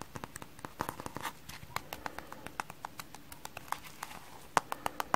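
A hand-sized rectangular kitchen sponge, frozen stiff with frost on it, with white wavy porous foam on top and a blue layer underneath, is held in both hands and tapped with medium-length painted nails and fingertips. About 30 short, crisp, dry clicks sound in a quick, uneven rhythm, each dying away almost instantly, with a few sharper and louder taps near the end.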